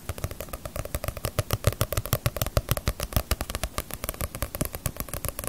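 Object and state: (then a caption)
Paperback manga book. A small, solid Bleach paperback manga volume with a glossy paper cover is held in the hands while long nails tap and scratch across its cover. Rapid, irregular taps land as dull low thumps with bright, crisp clicking on top, interspersed with scratchy rasps. Each sound dies away almost instantly, with no ringing.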